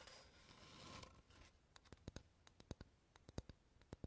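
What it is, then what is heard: Wooden board tapped with fingernails. A flat, rectangular, solid light wooden board, held upright behind the recorder, is tapped with fingernails. About a second and a half of soft, broad scratchy rustling gives way to around eighteen sharp, dry, bright clicks in an uneven rhythm. Each tap dies almost instantly, with a faint low thump beneath.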